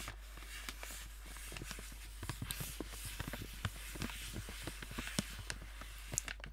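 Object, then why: Metallized plastic snack bag. A sealed, apparently full gold metallized plastic snack bag is held up and crinkled and scratched with fingertips and nails. Quiet, dry crackles and sharp ticking snaps come in irregular bursts over a steady low hum, with brief bright crinkle peaks that die away almost instantly.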